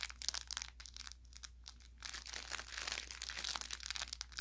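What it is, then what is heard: Plush carrot toy with crinkle filling. An orange velour plush carrot toy, about forearm length, soft and stuffed with a crinkle layer inside, is held in one hand while the fingertips of the other hand squeeze and rub along its body. Bright, dry crinkling and crackling bursts come in quick clusters, easing into a quieter, sparser stretch in the middle before building back into denser, louder crinkles. A faint steady low hum sits underneath throughout.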